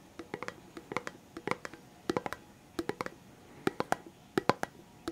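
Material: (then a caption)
Cardboard. A red Pringles chips can, a hollow composite cardboard tube with a plastic lid, is held in the hands and tapped with the fingertips on the lid and body. Quick, dry, hollow taps come in irregular bursts, each with a short resonant tone around 500 Hz that dies away almost at once.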